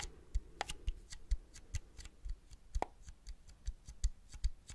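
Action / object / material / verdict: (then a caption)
tap / small plastic and metal film camera / plastic, metal / none. A small Agfa Isoly plastic and metal film camera is held up in both hands while fingertips and nails tap and scratch its leatherette and metal body. About twenty quick, soft, dry taps sound, each a low thump with a faint bright click that dies away at once, mixed with light scratching between them.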